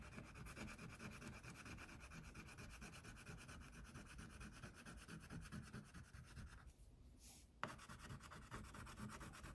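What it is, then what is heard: Crayon rubbed on a paper coloring page. An orange wax crayon, held in fingertips with long painted nails, is rubbed back and forth across a thin white paper coloring sheet lying flat on a table to fill in a tiger. It makes a steady, soft, scratchy waxy rubbing of quick, uneven strokes. Near the end the rubbing briefly drops away, a sharp tick sounds, and the strokes resume.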